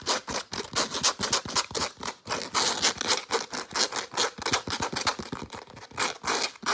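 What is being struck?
Soft nylon zippered pouch.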